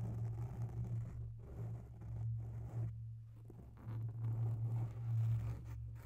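Long bare natural nails scratch slowly along the side of a soft, porous grey oval foam windscreen on a microphone. The result is a continuous, muffled, low rumbling scrape, with almost all its energy in the deep bass and a steady hum near 120 Hz, swelling and fading with each slow stroke.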